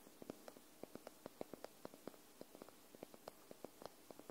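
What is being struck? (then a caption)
Paperback book, paper. Long nails tap the top edge and spine of a white paperback book held sideways. The result is a quick, uneven series of soft, dry, papery clicks with almost no ring, over a faint hiss.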